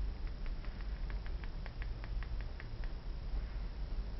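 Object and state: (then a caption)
Glass perfume bottle. Long dark-painted nails tap on a small, clear glass perfume bottle with a metal cap, partly filled. A run of quick, light ticking clicks sounds over a steady low rumble, each tap short and dry with almost no ring.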